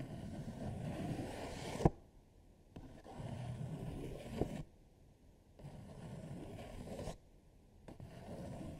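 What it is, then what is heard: Paper sheet rubbed and scratched. Long nails sweep, rub and scratch across a thin paper coloring sheet lying flat on a dark table, while markers sit idle at the side. Low, papery scraping comes in several bursts separated by near-silent pauses, with a few sharp scratches standing out along the way.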